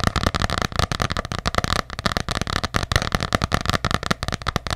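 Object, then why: Hardcover paper journal. Long nails tap quickly on the cover of an ornate hardcover paper journal held close up, making a rapid, uneven stream of short, dry clicks. Each tap is a low, papery thud with a bright edge that dies away almost at once.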